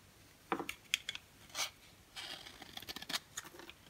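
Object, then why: Bar of soap shaved with a blade. A thinning, orange-striped solid bar of dry soap is held in the hand and shaved with a box cutter blade, making powdery flakes. Short, crisp, bright scraping strokes come in quick irregular bursts, with a longer rasping scrape near the middle and a faster run of scratches toward the end, all quiet and with almost no low end.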